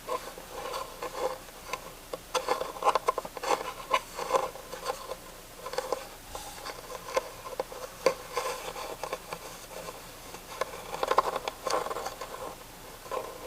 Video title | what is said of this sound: ASMR - Tapping and Scratching WOODEN TREASURES | just a wooden box that has a great texture to it